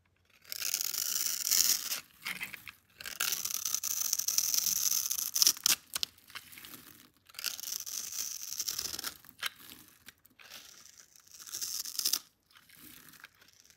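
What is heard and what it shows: A metal blade scores and shaves a solid, palm-sized, light-blue bar of soap held in one hand, cutting off flakes and cubes. Bright, dry scraping and crunching strokes come in bursts separated by short pauses, with little low end.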